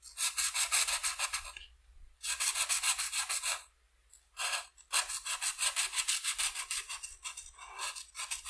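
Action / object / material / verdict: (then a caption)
scrape / felt-tip marker on a paper sheet / paper / none. A felt-tip marker is rubbed in quick back-and-forth strokes over the purple wing areas of a flat white paper coloring sheet lying on a table. The result is a bright, hissy scratching in bursts of rapid strokes, separated by short pauses.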